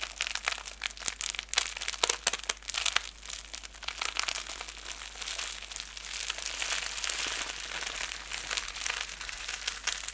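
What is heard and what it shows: A ball of clear plastic bubble wrap is held in both hands, crumpled and rubbed with the fingertips and thumbs. It makes a dense, bright crinkling with many sharp crackles. The sound shifts to a steadier rustle in the second half.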